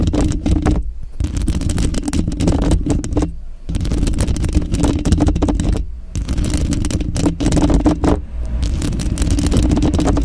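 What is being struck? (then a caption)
Woven metal mesh microphone grille. Long pink and glitter acrylic nails on lotioned fingers scratch and tap the woven metal mesh grille of a Blue Yeti microphone's hollow head. The result is a dense, boomy, low-heavy scraping and rustling with quick taps layered throughout, broken by a few brief pauses.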